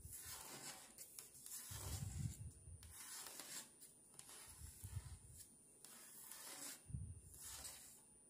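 Fingertips and long polished nails rub and scratch across a flat, thin, roughly A4 paper puzzle sheet covered in paper stickers forming a dove, lying on a marble tabletop. Uneven bursts of dry, papery scraping hiss run through the clip, with soft low thuds where the hand presses down.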